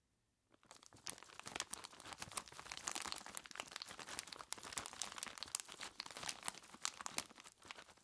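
Bare fingertips squeeze and crinkle a large, clear plastic bag, tied at the top and full of ice cubes, pressing it against the ice. After a brief near-silent start, a steady stream of bright, crisp crinkling and crunching sets in, with dense sharp clicks and almost no low end, and it continues until the end.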